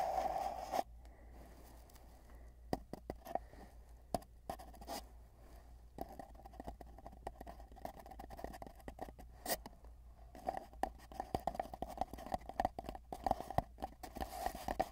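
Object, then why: Cardboard tube. Fingertips of both hands tap rapidly along the surface of a long, hollow, empty cardboard tube, heard from inside the tube. The taps are short, dry thumps with a hollow mid-range resonance over a steady low hum. They come in sparse bursts at first and grow into a dense, pattering flurry toward the end.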